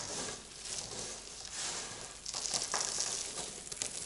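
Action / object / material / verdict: scrape / crumbled soap flakes and chunks / soap / none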